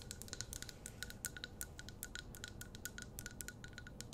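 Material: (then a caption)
Glass. Long nails rapidly tap and scratch the glass walls of a medium glass jar candle filled with wax, held in both hands. Quick, bright clicks and chinks come over a faint steady tone near 1.5 kHz, each one dying almost instantly, with a soft scratchy rustle underneath.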